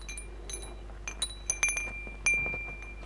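Fingertips and nails brush and tap the hollow metal tubes and glass crystal beads of a hanging wind chime. A quick string of light, bright clinks and chimes rings out, centred on a tone near 2.4 kHz. Each strike fades within a fraction of a second, and the loudest strike comes near the end.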